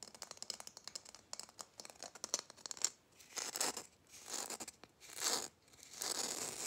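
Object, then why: Glitter-coated Christmas bauble. A red glitter-coated Christmas bauble held in both hands is tapped and scratched quickly with fingernails. The first few seconds bring a rapid run of crisp, bright clicks, followed by longer rough, hissy scratching swells that rise and fall. The sound is dry and high-pitched, with almost no low end.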